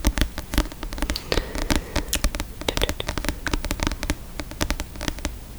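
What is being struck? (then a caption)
Book, paper and cardboard cover. Fingers tap repeatedly on a book, producing a rapid, irregular stream of short, dry taps. Each tap has a soft low thump and a crisp, bright click that dies away almost at once. The pace stays busy throughout.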